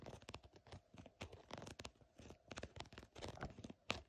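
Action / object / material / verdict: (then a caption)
scrape / embossed faux snakeskin synthetic leather / synthetic leather / none. A long painted fingernail or thin pointed tip scratches and taps across the raised scales of a green, glossy, embossed faux snakeskin surface, possibly a synthetic leather bag or wallet. A quick, irregular run of dry, crinkly scratches and short taps is heard close-up, each one cutting off at once with no ring.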